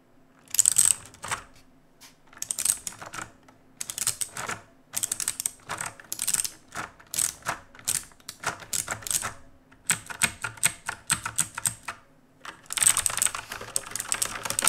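A black RGB plastic and metal mechanical keyboard is typed on with the fingertips of both hands. Bursts of rapid, crisp, bright key clicks and clacks come in clusters separated by short pauses, with each keystroke dying away almost instantly.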